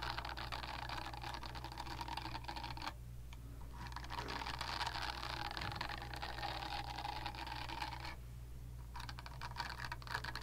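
Long nails scratch and tap across the smooth surface of a pink silicone facial cleansing brush pad, making a dense, crackly rustle with bright, high edges over a steady low hum. The scratching eases briefly twice, around 3 and 8.5 seconds, then picks back up.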